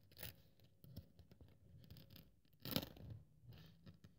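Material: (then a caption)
Polyethylene foam. A thin white polyethylene foam sheet is cut into strips with a metal craft-knife blade, held with long-nailed fingers, with the cut-off strips lying beside it. Quiet, dry scratching and cutting sounds carry a low thump. A louder, bright crunching slice comes near the middle.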